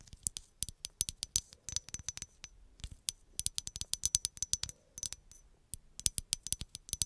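A hollow, medium green glass bottle, held behind the mic, is tapped with long acrylic nails in quick, uneven bursts. There are 37 sharp, bright clicks, each dying away almost instantly. A faint high glassy ring lingers between them.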